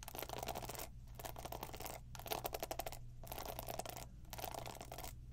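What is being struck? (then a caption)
Plastic paddle hairbrush with plastic pin bristles. Long nails scratch across the plastic pin bristles of a black plastic paddle hairbrush held in hand and tap its plastic body, making bright, dense, crackly raking in bursts of about a second. Each burst is separated by a brief quiet gap, over a steady low hum.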